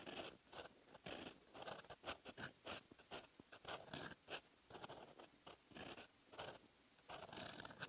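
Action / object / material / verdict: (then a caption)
scrape / metal pen nib on lined paper / paper / none. A metal fountain pen nib held in the fingers scratches across a lined paper notebook page, writing in red ink. Quick, dry, scratchy strokes come in rapid bursts with short pauses between, bright and papery with little low end.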